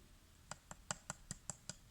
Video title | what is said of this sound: Présentation Figurine : IZUNA No Game No Life (phat!!!) | est extrêmement léger puisqu'elle est creuse vous voyez ça sonne creux